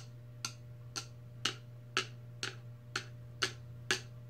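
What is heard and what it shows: Long red nails tap eight times on the clear plastic lid of a large stainless steel tumbler, making short, bright clicks at a steady pace of about two per second. Each click dies away almost at once over a constant low hum.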